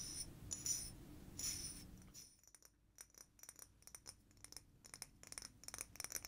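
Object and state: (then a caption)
Frosted glass sake bottle. A medium blue frosted glass sake bottle with a paper label and cap is held in the hands and tapped and scratched across its surface with long fingernails. The first two seconds carry a softer rubbing scratch with bright, ringing glassy glints. After that come quick, irregular fingernail taps that ring briefly with high, clicky tones.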